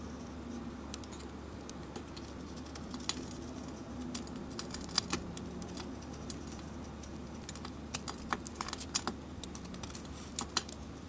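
A metal blade scrapes across a hand-held solid soap bar with a glittery dark coating and an Aries sign, shaving the coating off in flakes. Short, sharp, bright clicks and crackles come at irregular intervals over a steady low hum. Each tick is crisp and dies away almost at once.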